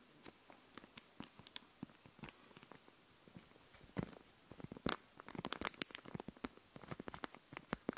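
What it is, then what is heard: Puffy plastic sticker sheet. A sheet of raised puffy plastic stickers, held in both hands, is tapped and scratched with long nails. Quick, dry clicks and light scratchy crinkles come in an irregular, pattering stream, with bright, crackly tops and very short ring.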